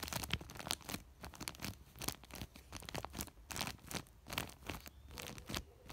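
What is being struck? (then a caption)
Woven polypropylene sack. Fingertips scratch and rub a large white woven polypropylene sack, sometimes gripping and crinkling it. Fast, irregular bursts of bright, dry rasping and crackling come close together over a faint steady low hum. The scratches are quiet overall and die away almost instantly.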